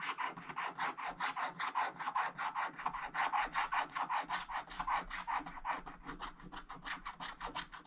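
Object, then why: Wax-coated scratch-art card scraped with a wooden stick. A wooden stick scratches the black wax coating off a scratch-art card page in a hardcover book lying flat, while one hand holds the page and the blue layer shows through. About 40 short, dry, raspy strokes follow at a fairly steady pace of roughly two to three per second, each centered around 1 kHz with a brief bright edge and almost no low end.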